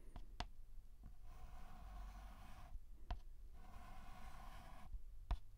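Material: Chalk.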